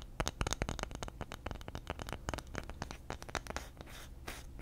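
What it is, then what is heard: Bamboo lid. A round bamboo lid held in the hand has its surface scratched quickly with fingernails. Rapid, dry scratching clicks and short rasps follow one another closely, then ease into a softer, smoother scraping hiss near the end.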